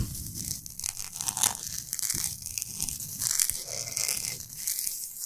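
Fingernails and fingertips rub and scratch quickly across the surface of a large, flat, solid pink Himalayan salt block. The result is a steady run of dry, bright, gritty scratching and crinkly rasping, with little low end and brief louder strokes throughout.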